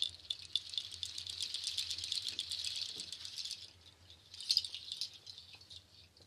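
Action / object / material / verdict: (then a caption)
shake / nut shell waterfall shaker / nut shell / none. A nut shell waterfall shaker, a bundle of dark nut shells on cord strands, is held by its top loop and shaken and handled so the shells rattle together. A dense, bright, dry clatter of many quick clicks runs steadily for about three and a half seconds, then fades. A second, shorter burst of rattling follows and tapers off into scattered light ticks.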